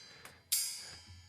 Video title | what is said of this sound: What Colour is a Dead Chameleon? | you get that rather tinny noise